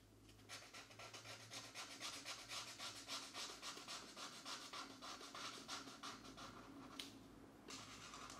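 A felt-tip alcohol marker, held in one hand, rubs back and forth across a thin paper page of an open mandala coloring book lying flat on a desk mat while the other hand holds the page still. The result is a quick, steady run of soft, bright, papery rasping strokes, nearly four per second. The strokes briefly thin out around the seventh second with a small sharp tick, then resume.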